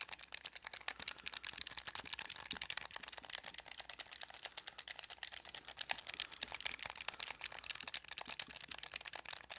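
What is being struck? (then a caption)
Plastic game controller. Fingertips rapidly click and tap the buttons of a blue hollow plastic gamepad held next to the mic. The result is a dense, fast stream of short, dry, bright plastic clicks and taps with almost no low end and no ring-out.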